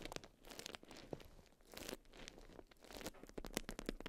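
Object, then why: Beeswax wrap of wax-coated cotton fabric. A watermelon-print beeswax wrap of wax-coated cotton, balled around a small hand-sized bundle, is scratched and pressed by long white almond-shaped acrylic nails. The crinkly wax fabric gives quiet, continuous crunching and crackling, with sharp, bright nail clicks and scrapes popping out over the rustle.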